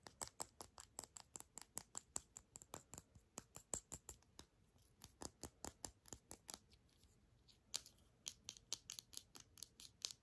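A small white hollow hard-plastic earbud charging case is held in both hands and tapped and scratched with long manicured fingernails. Quick, dry, bright clicks come in a steady rapid run with a few short pauses and faint scratching between them.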